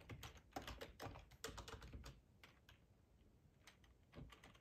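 Fingertips type on the keys of a black plastic, hollow-bodied split ergonomic computer keyboard. A quick, uneven run of clacky taps with short, dry decays is dense for the first two seconds, thins into softer scattered clicks, then picks up again with a few firmer taps near the end.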